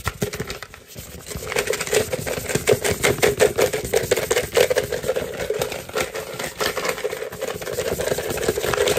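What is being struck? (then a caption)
Hollow plastic pumpkin bucket. A hollow, head-sized orange plastic jack-o'-lantern trick-or-treat bucket with a black handle is tapped and drummed with fingertips and short nails. It gives fast, irregular, hollow plastic clicks and knocks with a mid-pitched resonant tone and bright nail ticks. The drumming grows slightly louder toward the end.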